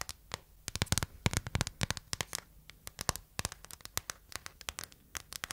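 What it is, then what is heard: Hard plastic phone case. A phone in a clear hard plastic case over a printed anime insert is held in the hand while long nails tap and scratch the back. Quick, sharp clicks come in irregular clusters, each dying away almost at once, with faint scratchy rustling between them.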